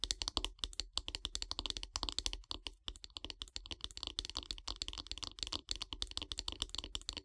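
Long grey nails tap fast on the handle of a solid light-wood bath brush. The result is a rapid, uneven stream of dozens of dry, bright clicks that stop almost instantly with no ring, like quiet keyboard typing.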